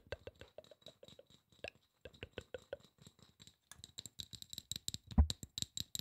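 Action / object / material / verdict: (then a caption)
tap / aluminum spray bottle / aluminum / none. A hollow silver aluminum spray bottle is tapped quickly with fingertips and nails, producing a rapid series of short, dry taps. The taps have a low thump and a bright tick, with a brief pause before the tapping speeds up and grows denser. One tap near the end lands noticeably harder and louder than the rest.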